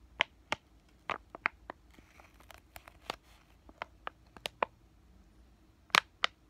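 Fingertips and short nails tap and crinkle a flat, white laminated plastic-foil pain patch sachet. It makes a scattered series of short, sharp, bright clicks and crackles with quiet pauses between them. Two louder crinkles come near the end.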